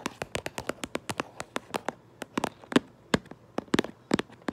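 Long nails tap and trace over the printed front of a cardboard Minecraft Lego box that is held up. About twenty short, dry, bright clicks come in an uneven rhythm, with brief soft scraping between some of them. Each tap dies away almost at once, leaving no ring.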